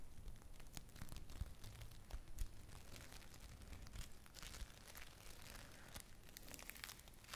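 A small lump of yellow play foam made of tiny foam beads is held in both hands and squeezed and kneaded with long-nailed fingers. It gives a steady stream of dense, crackly crinkling and popping over a low, muffled rumble, with brief bright snaps and no ring after each one.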